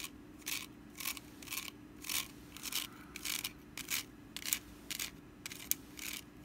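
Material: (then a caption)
Wicker. Long nails scratch and tap the woven sides and rim of a small, open, orange woven wicker pumpkin basket that is hollow and empty. Short, bright, crisp scratching bursts come in an uneven rhythm, each dying away almost at once, over a faint steady low hum.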